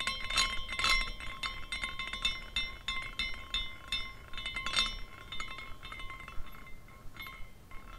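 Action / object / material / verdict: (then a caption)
shake / small glass carousel figurine with hanging glass pendants / glass / none. Fingers spin the top spindle of a small glass carousel figurine, and its glass pendants clink against each other in a rapid, irregular shower of bright tinkles. The clinks ring briefly, with a main pitch near 3.6 kHz, over faint steady tones and low background rumble.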